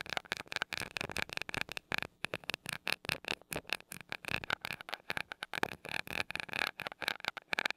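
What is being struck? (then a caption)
Metal mesh microphone grille tapped with a glass rod. A glass rod taps and rubs the small gold metal mesh grille of a mini microphone. It makes a quick, uneven run of dry, bright clicks and scratchy brushes with a faint tinny ring and almost no low end. Each contact stops at once, with short silent gaps between the bursts.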